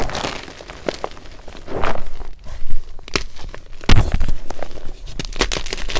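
Fingers squeeze and crush a heap of broken white magnesium carbonate gym chalk chunks and powder in a glass bowl, and a remaining block is broken by hand. Soft, dry crunching and crumbling crackles run throughout, with several sharper snaps and low thuds. The chalk ends up crushed into smaller pieces.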